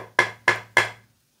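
Three short, dull knocks on the solid aluminum chassis of an LHY Audio OCK-2 10MHz master clock generator, which is CNC-machined from a full aluminum block. Each knock dies away quickly with no lingering ring, showing how solid and substantial the case is.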